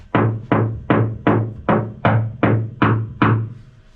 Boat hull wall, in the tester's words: It's a very loud, echoing knock.